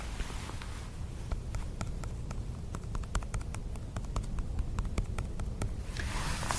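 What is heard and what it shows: The cap of a newly fruiting birch polypore bracket growing on a fallen birch tree is tapped repeatedly. Soft, short, dry taps die away almost instantly over a steady low rumble.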